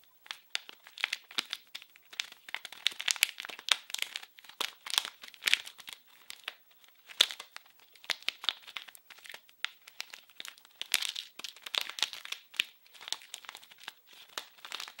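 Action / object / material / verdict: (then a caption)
scrape / plastic film wrapper / plastic film / none. Fingers crinkle and scratch a small blue printed package wrapped in plastic film, producing dense, bright crackling with short sharp bursts and almost no low end. The crinkles come in quick irregular clusters for the whole clip, with a few louder crunches standing out.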